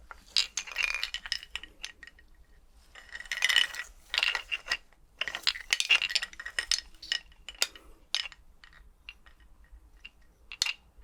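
Skeleton bones are clinked together in quick, irregular bursts of sharp, bright clicks and clatters, centered around 3 kHz with almost no low end. Each tap dies away almost instantly, leaving a dry, rattling chatter with short quiet gaps between clusters.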